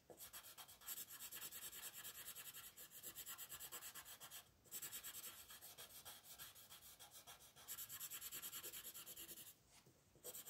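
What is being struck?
Wooden colored pencil on thin paper sheet.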